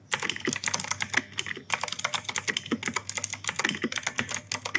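Fingertips type continuously on an E-Yooso K-620 plastic mechanical keyboard with grey and white plastic keycaps and clicky Outemu Blue switches. Rapid, bright clacks with crisp high clicks rattle out in a steady stream, each dying almost instantly. There is a brief pause near the middle.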